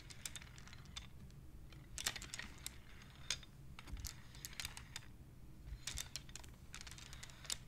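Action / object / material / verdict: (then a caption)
tap / wooden abacus with wooden beads / wood / none. Hands with long nails slide the colored, painted wooden beads of a wooden abacus along their rods so they click against each other. The result is a quick, irregular series of dry, bright clicks that die away almost at once, heard over a low, steady rumble.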